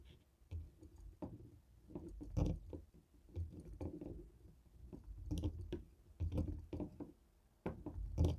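A small black plastic Fire TV remote with buttons and a sticker, lying on a wooden table, is tapped and rolled over by the stone head of a hand-held jade roller. The result is a string of dull, low, muffled knocks and soft clicks that stop quickly, separated by quiet rolling rumbles.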